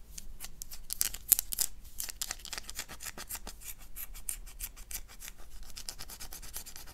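Long dark nails scratch the surface of a solid oval black bar of soap held in the hand, producing a rapid series of short, dry scraping strokes. Each stroke gives a bright, high crackle with no ringing afterward, over a faint low background hum.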